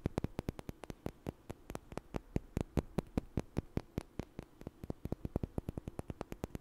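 Two small, solid, light wooden blocks are knocked together and tapped with fingers in front of the microphone. About 44 sharp, dry clicks come in an uneven, quick rhythm. Each knock stops almost instantly over a faint low hum.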